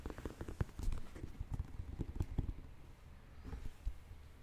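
Fingertips and nails tap the purple rubber outsole and the leather-and-suede upper of a hollow, empty white, black and purple Air Jordan 1 Mid high-top sneaker held in both hands. The result is a quick, uneven series of soft, dull, low-pitched clip-clop taps that stop almost instantly, with no bright ring.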